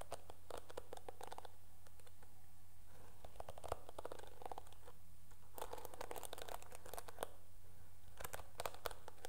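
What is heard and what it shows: Long nails scratch and strum the dark bristles of a teal plastic hairbrush, making quiet, rapid crackly ticks that come in clusters with brief pauses between them. A steady low hum runs underneath the whole time.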